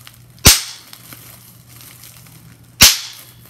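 Clear plastic bubble wrap, first a sheet and then a small crumpled piece, has its bubbles pinched and popped with the fingers. Two sharp, bright pops stand well apart, each dying away quickly over a faint low hum.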